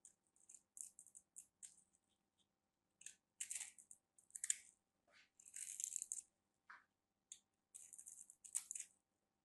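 A solid orange rectangular bar of soap with a grid-cut surface is held in the hand and scraped and carved with a small black knife blade, dropping dry shavings. The result is a quiet series of short, crisp, bright scraping bursts with tiny crackles and brief silences between strokes, almost no low end and no ring.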